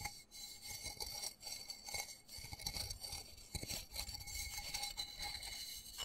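Fingernails tap and scratch the rim and side of a small black embossed plastic flower pot holding soil and a cactus. Quick, dry, bright clicks and scratchy rubbing run continuously, with a steady high tonal ring and a thin low thump beneath.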